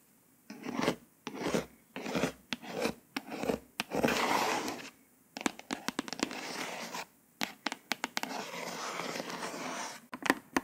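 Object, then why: Glossy hardcover book. Dry scratching and rubbing bursts with sharp little clicks, fingernails dragging over a glossy hardcover cover.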